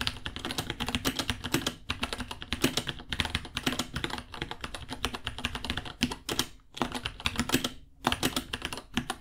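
Both hands type with their fingertips on a small white 66-key mechanical keyboard with Gateron Brown switches, white plastic keycaps, a hollow case and pink underglow, resting on a white desk. It makes a rapid, steady stream of crisp, bright clacks with a hollow low thump under each press. Short pauses break the flow near 2, 6.7 and 8 seconds.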